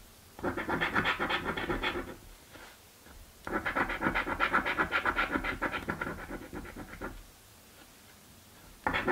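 A coin scrapes the coating off a paper scratch lottery ticket resting on a wooden table. It makes rapid, rhythmic raspy strokes in bursts, with two long runs separated by quiet pauses and a third burst starting at the end. The scraping has a bright, papery texture centered in the midrange.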